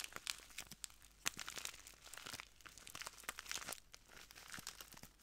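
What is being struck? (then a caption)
Small plastic bag filled with granules. A small clear plastic bag full of translucent granules is squeezed and crinkled between ringed fingertips, then pressed flat at the end. A quiet, continuous run of bright, crisp crinkles and crunchy little crackles, with sharp snaps popping out here and there.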